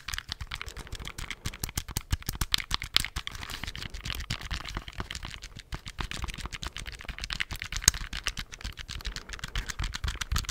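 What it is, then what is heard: Plastic calculator keys. Fingertips tap and press the plastic keys of a handheld black plastic scientific calculator in a quick, steady run for about ten seconds. Each press gives a short, dry click with a bright tick and a soft low thump, and the clicks stop dead with no ring.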